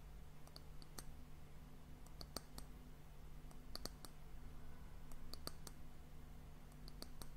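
Long nails tap the round, solid, polished brown wooden end cap of a tilted glass sand timer. The result is quick, crisp, bright clicks in scattered clusters that die away almost instantly, heard over a steady, quiet low hum.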